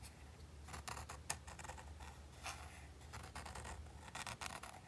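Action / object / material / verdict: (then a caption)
scrape / textured plastic game controller grip / plastic / none. A fingertip and fingernail scratch and rub the white textured plastic grip of a hollow PlayStation 5 DualSense controller. Soft, bright, rasping scratches come in short bursts over a faint low hum, with one sharper tick partway through. The strokes are quiet and dry, dying away almost at once.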